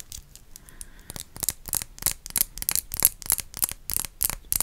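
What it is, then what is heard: Glass perfume bottle. A dark blue rectangular glass perfume bottle with a label and a black cap is held in both hands and tapped with long acrylic nails. After a quiet start, about sixteen bright, crisp clicks follow in a quick, uneven rhythm, each dying away almost instantly with little ring.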